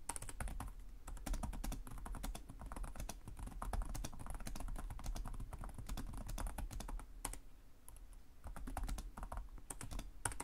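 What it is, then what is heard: Plastic laptop keyboard being typed on. Fingertips of both hands tap rapidly on the low-profile black plastic chiclet keys of a black laptop with a hollow body, in continuous typing. The result is a steady stream of short, dry clicks with a low thud under each keystroke, a brief pause near the eight-second mark, and then the typing resumes.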